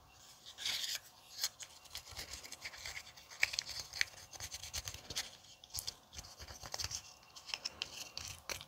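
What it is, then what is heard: Aluminium tealight cup. A thin wooden orange stick scrapes and scratches the inside and along the rim of a small, empty, hollow aluminium tealight cup held in the fingers. The result is a steady run of dry, bright scratching with quick metallic ticks and faint tinny glints around 2.3 kHz, almost no low end and no lingering ring.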